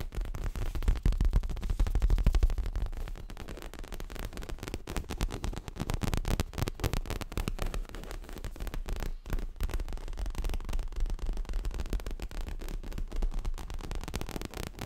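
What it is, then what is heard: Leather cushion. Fingertips and nails tap and scratch quickly across the front and top edge of a stuffed dark grey leather throw pillow. The result is a dense, irregular run of soft, low, muffled thumps with short rustling scratches. It is heaviest in the first few seconds, then settles into a steady, quieter patter.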